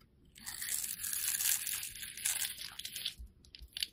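A box-cutter blade scrapes and cuts a solid, hand-sized purple oval bar of soap held in one hand, carving it into cube-like shavings. The sound is a steady run of dry, crisp crunching and scraping strokes, almost entirely bright and high with very little low end, easing off into a few short final scrapes.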